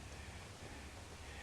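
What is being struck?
Nothing is struck.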